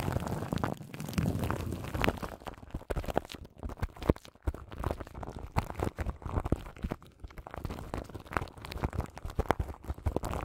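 Long nails scratch the crinkly plastic film wrapped around a large microphone's grille. The result is a dense stream of close, muffled crackles and scratchy rustles, heavy in the low end, with sharp crinkling snaps scattered throughout.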